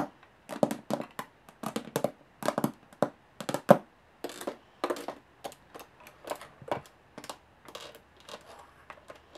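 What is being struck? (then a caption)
Aluminum carry case. Long nails tap quickly across the textured lid and edge of a closed, hollow aluminum carry case with metal latches. About thirty short, dry taps come in uneven bursts, each with a mid-pitched hollow knock and almost no ring.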